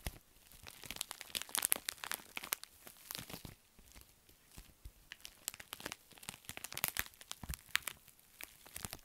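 A pink metallic foil bubble mailer is bent, squeezed and crinkled in both hands while a nail scratches across it. Dense, bright crinkles and crunches crackle in quick, uneven bursts, with short quieter pauses between flurries.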